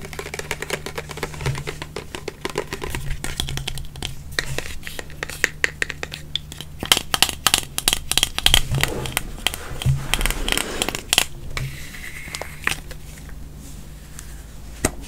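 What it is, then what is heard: Plastic body mist bottle. Fingernails tap and scratch the sides of a clear, plastic-looking body mist bottle with a gold pump and a "Confetti" label, filled with golden liquid. Quick, irregular clicks and dry scratching scrapes come in dense, bright bursts that cut off sharply, over a steady low hum.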